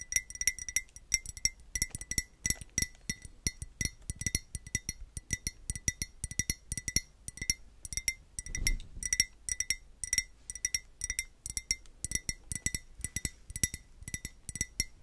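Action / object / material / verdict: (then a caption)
tap / glazed ceramic pot / ceramic / none. A hollow white glazed ceramic pot holding blue tissue paper is held up and tapped quickly with long nails. Dozens of short, bright clinks follow each other with barely any ring, carrying a steady tone near 2 kHz with higher overtones above it.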